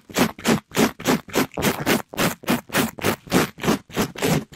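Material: Polyester mesh.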